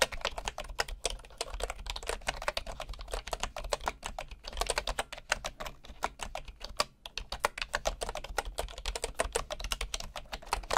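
A bamboo wooden computer keyboard with wooden keycaps is typed on with the fingertips of one hand. The result is a steady stream of short, dry, clicky key taps that die away almost at once, with a faint low hum underneath.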